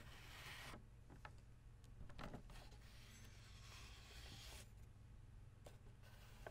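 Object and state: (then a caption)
Plastic-ribbed folding fan. Fingertips and nails tap and scratch the white plastic rib guard and the base of the printed floral fabric or paper leaf of an open folding fan held still. Soft rasping scratches and light clicking taps come and go over a steady low hum, with brighter bursts of scraping now and then.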